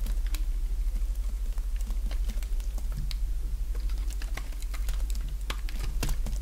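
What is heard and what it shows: A small solid white bar of dry soap, held in the fingers, is carved with a utility-knife blade in short scraping strokes that crumble off flakes. Quick, irregular, dry crackling scrapes and clicks keep up steadily for the whole clip over a constant low hum.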